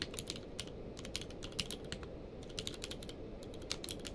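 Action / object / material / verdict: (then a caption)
tap / plastic mechanical keyboard / plastic / none. Both hands rapidly type with their fingertips on a full-size mechanical keyboard with a blue-grey case and white and grey plastic keycaps, lying on a blanket. Quick, bright plastic clicks patter unevenly over a steady low background, each key press dying away almost instantly.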